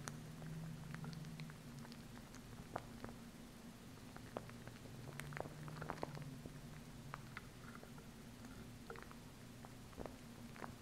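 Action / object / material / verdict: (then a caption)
tap / plastic glue stick / plastic / none. Long acrylic nails tap and scratch the plastic side of a small plastic glue stick held by its base. The sound is quiet and made of sharp, dry clicks with brief scratchy strokes over a low, steady hum.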